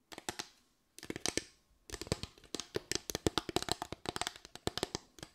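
Long white nails tap and scratch a solid bamboo slatted board, a flat wooden board with raised parallel slats. The result is quick, dry, bright clicks in bursts, with short pauses near the start before a steady, dense run of taps.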